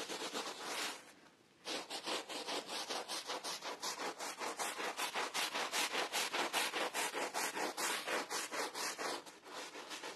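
A gloved hand scrubs the fibers of a wet, foamy pile rug with a bear design using a green handheld bristle brush. Fast, rhythmic strokes make a bright, hissing rub that briefly stops after the first second, then resumes steadily at about two and a half strokes per second until the end.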